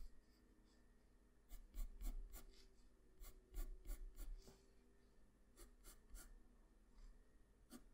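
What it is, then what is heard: Pencil scratching on drawing paper. A wooden graphite pencil scratches short outline strokes along drawn hair spikes on a flat sheet of white drawing paper, with the tip kept on the paper. Quick, uneven bursts of dry, bright scraping come in two busier clusters, then thin out over a soft, low background hum.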